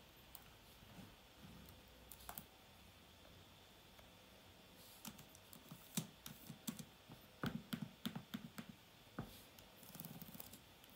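Fingertips type on and tap the low-profile plastic keys of an open silver-white laptop. Soft, dry clicks come irregularly over a faint steady hiss, then cluster into a quicker run of sharper taps midway before thinning out again. Each click is short, with a low thud and a bright, crisp edge.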